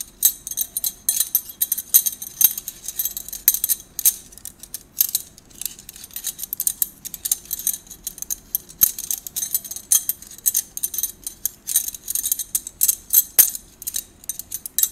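A handful of thin, hollow gold stainless-steel drinking straws, some straight and some bent, is held in both hands and rolled and rubbed together. It produces a steady stream of quick, bright metallic clinks and jingly rattles with a high, shimmering ring that dies away almost at once. There is almost no low end beneath the clinking.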